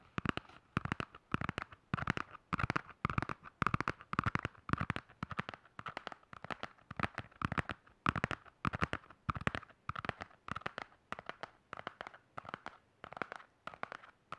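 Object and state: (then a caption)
Hardcover spiral notebook, tapped and scratched. Fingernails rapidly tap and scratch the cover and spiral binding of a black hardcover spiral notebook held flat in both hands. The result is a steady run of quick, dry clicks and scratchy bursts, centered around 1.2 kHz with some low thump beneath. Each hit dies away almost instantly.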